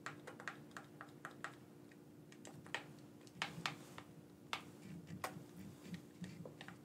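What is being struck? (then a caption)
Plastic game controller. A black, wired, hand-sized hollow plastic gamepad is held in both hands while its buttons and sticks are pressed and tapped with the thumbs. The result is a run of short, sharp plastic clicks at irregular intervals that die away almost instantly, over a steady low hum.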